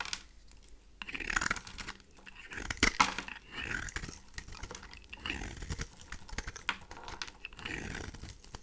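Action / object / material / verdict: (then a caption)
scrape / bar of soap scraped with a blade / soap / none. A pink rectangular bar of dry rose soap, held in the hand, is shaved and scraped with a craft knife blade, making crisp, dry crunching and scratchy scraping sounds. Short bright crackles and soft ticks mark the flakes breaking off the bar in uneven bursts.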